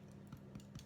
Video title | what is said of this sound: Soda Bread Without Buttermilk and Using Self-Raising Flour | if I tap the bottom of it it sounds pretty Hollow so I actually think it's done